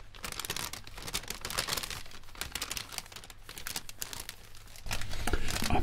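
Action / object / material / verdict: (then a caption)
scrape / thin paper popcorn bag / paper / none. An empty striped popcorn bag of thin paper is crumpled and folded between white cotton-gloved hands. It makes a dense, irregular run of bright crinkling and rustling over a steady low hum, and the crinkling grows louder in the last second.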